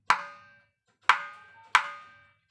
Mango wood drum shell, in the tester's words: মন্দিরে টোকা দিলে যেরকম সংশ করে এরকম